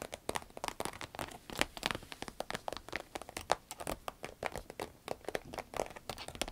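Long red acrylic nails scratch, tap and squeeze a small, hollow, cylindrical sparkly green vinyl pencil case with a zipper that appears empty. A rapid, uneven run of about forty short, dry taps and crinkly scratches follows, each dying away almost at once. The sound is centered in the midrange around 750 Hz, with bright, crisp edges and little low end.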